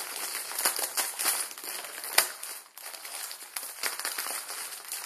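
A Maruchan instant ramen packet, plastic film around a dry noodle block, is twisted and crinkled with both hands and fingertips. It makes a dense, bright crackling crinkle with almost no low end, marked by a sharp louder snap a little past two seconds. A brief near-silent dip follows before the crinkling resumes.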